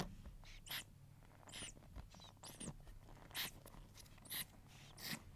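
Long nails scratch across the black pins and plastic handle of a pink plastic paddle hair brush. Short, bright, scratchy bursts rise out of a quiet, low background hum, with softer rustling strokes in between.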